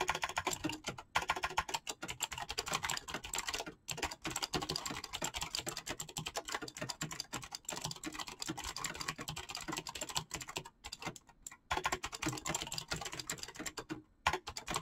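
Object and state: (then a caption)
Mechanical keyboard with PBT plastic keycaps. Fingertips type rapidly on a full-size backlit mechanical keyboard with PBT plastic keycaps. A dense stream of bright, crisp key clacks runs almost without a break, with short pauses near 1, 4, 11 and 14 seconds. Each clack is short and dry with very little low end.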